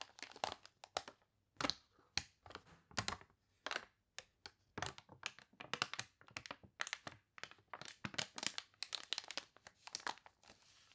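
An open glossy paper catalog with wavy, water-wrinkled pages is scratched with long nails and crinkled by fingers, with a page turn. Many short, bright, dry crackles and crunches come in quick irregular bursts with no low end and almost no ring.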